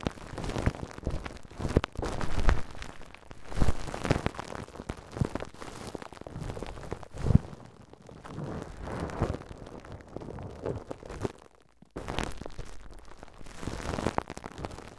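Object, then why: Plastic cling film wrapped over a microphone. A thick, fist-sized ball of clear plastic cling film is wrapped over a handheld recorder's microphone capsule. Painted fingertips scratch and rub the film, making dense, crinkling, crackling bursts with a heavy low rumble. There is a brief near-silent gap before the rubbing resumes.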